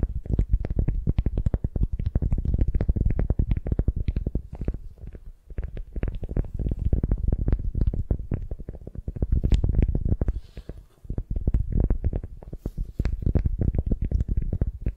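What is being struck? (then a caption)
Beeswax-coated cotton wrap over a wooden sphere. Long nails scratch and grip a beeswax-coated cotton wrap around a solid wooden sphere held in hand. The result is a dense run of rapid, crinkly, scratchy crackles with a heavy low-end body, broken by brief quieter lulls near 5 and 11 seconds.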